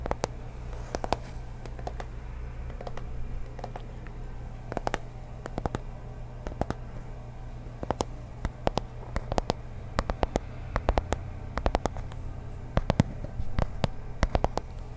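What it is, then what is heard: Cardboard box tapped and scratched. A small, hollow teal cardboard box is held up close to the mic and tapped and scratched with fingertips and nails. Many sharp, dry taps and clicks land irregularly across the clip, some in quick clusters, with soft scratching between them. Underneath runs a steady low hum.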